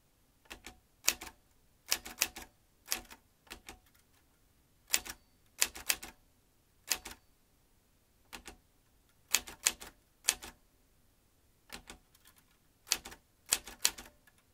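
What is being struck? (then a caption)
Metal manual typewriter. Fingertips of both hands type on the keys of a vintage metal manual typewriter, seen from the rear. Sharp, bright clacks come in short irregular bursts separated by brief pauses, each strike dying away almost instantly.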